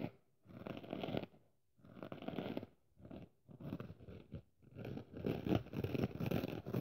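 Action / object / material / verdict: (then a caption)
scrape / foam kitchen sponge with abrasive scouring pad / foam / none. Long nails scratch and rub the red abrasive scouring surface of a dry pink and red kitchen sponge, a foam sponge with a scouring pad, held up in one hand. Bursts of rough, crackly scraping come in irregular strokes separated by short pauses, growing denser and louder toward the end.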